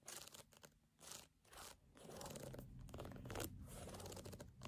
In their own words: In this video I am tapping and scratching on a canvas sneaker.